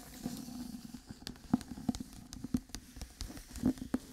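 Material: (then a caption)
Paper. Fingernails scratch and riffle along the paper page edges of a white hardcover book held spine-on. A quiet, dry scratching rustle is broken by short, sharp clicks and taps, each dying away almost instantly, with a faint low tone underneath.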